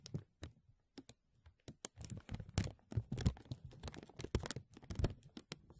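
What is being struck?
Thin embossed plastic bag.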